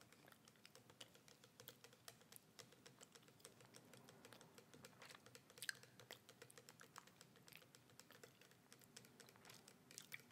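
A small clear plastic bottle with a red and white label is held horizontally and rotated in the hands while long red nails tap quickly on the label and the cap end. The result is a quiet, dense stream of fast, bright clicking taps that die away almost instantly.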